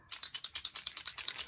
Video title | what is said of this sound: Unfiltered Friday (no. 2): Alcohol Ink On Switch Plate | shake it till you hear the little thing go bang bang